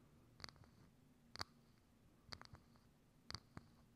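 Long acrylic nails tap a hollow, thin, transparent clear plastic dome lid set over a microphone, making six quick, bright clicks in loose pairs and singles. Each tap is short and hollow-sounding with a faint high ring. Between taps there is only a quiet, low background hum.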